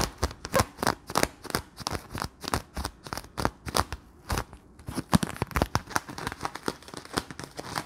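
Fingertips press, squeeze and crinkle the thin film of a palm-sized, round, clear, hollow Bloonies bubble made of sticky plastic. A rapid, uneven run of short, sharp crackles and snaps with bright edges and a soft low body comes through, with a brief lull near the middle before the crinkling picks up again.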